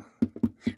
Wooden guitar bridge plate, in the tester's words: I hear a little quacking which means our Bridge plate is loose